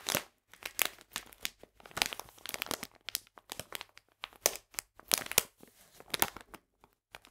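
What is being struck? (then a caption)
Plastic bag of polenta. A full plastic bag of polenta is held in the hands while fingernails scratch and tap its back side. The clip is a quick, irregular series of bright, crisp crinkles and short taps with brief pauses between them, each sound stopping almost instantly with no ring.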